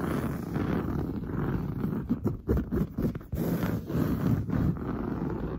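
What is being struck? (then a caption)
Padded woven fabric sofa upholstery. Long blue nails scratch fast across grey-brown, textured, padded woven sofa upholstery. The result is a dense, low, rough rustling and scraping that runs almost continuously, with a few brief dips and surges in loudness near the middle.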